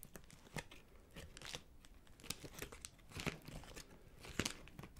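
Crinkly iridescent plastic cellophane gift wrap around a small gift is held and crumpled with the fingers. The result is a quiet, continuous crackling and crinkling with sharp bright snaps and a soft low rustle underneath.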